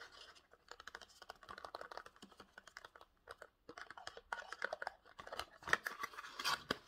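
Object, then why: Small printed cardboard box. Short nails scratch and tap a small rectangular printed cardboard Pantene box, held upright and then sideways. Quick, dry, papery scratches and crisp taps come in dense bursts with a brief pause midway. The sound is mostly mid and high, with almost no low end and no ring after each touch.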